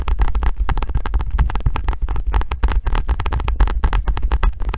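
A hand gripper with pink foam handles and a metal spring is held close while fingernails tap the metal spring and then scratch along the ridged pink foam handle. The result is a dense run of quick, dry taps and scratchy crackles over a heavy, rumbling low end.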